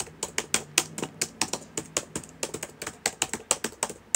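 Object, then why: Plastic laptop keyboard. Fingertips type on the plastic keys of a black laptop keyboard, making 22 quick, separate clicks in an uneven rhythm. Each keystroke is a short, bright tap with a dry, fast decay and very little low end.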